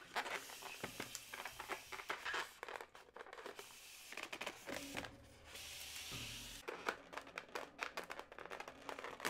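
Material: Latex.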